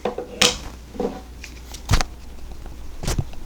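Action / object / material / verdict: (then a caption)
shake / 9mm pistol with metal slide / metal / tight. A 9mm pistol with a metal slide is shaken to check for rattle, giving four short, dull knocks with a brief ring over a low background hum. The slide stays tight, with no rattle, unlike a rattly pistol that sounds like a spray paint can.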